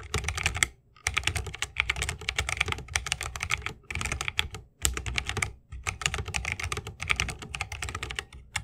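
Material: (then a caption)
Plastic, wood. Fingertips of both hands type fast on an RGB-lit 60% mechanical keyboard with plastic keycaps on tactile Holy Panda switches, set in a solid bamboo wooden case resting on a wrist rest. The result is dense, rapid, bright clacking with a low thocky body. The bursts are broken by a few brief pauses, and each keystroke dies away almost instantly.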